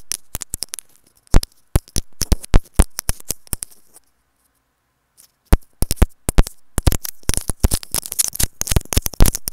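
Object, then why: Plastic earphone inline microphone. Long decorated nails tap on the small white plastic inline microphone capsule of an earphone, making quick, dry clicks close up. The taps come in rapid irregular bursts, stop for about a second and a half of near silence, then return denser and faster to the end.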